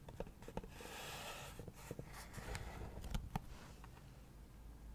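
Long acrylic nails scratch and tap the lid and sides of a hollow leopard-print cardboard gift box. Soft, dry scratching runs under several quiet, short taps with a low, hollow body and almost no ring.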